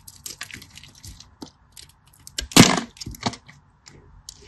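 A craft knife scores and cuts a solid beige cream bar soap into cubes, making a run of dry, scratchy scraping and crackling bursts with bright, crisp edges. One sharper, louder crack stands out near the middle before softer scrapes trail off, each sound dying away quickly.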